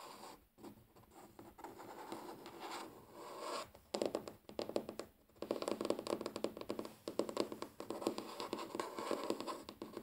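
Natural fingernails of both hands scratch and tap across a large solid wooden tabletop. Soft, continuous scratching for the first four seconds gives way to louder, rapid bursts of dry, short clicks and scrapes that continue to the end.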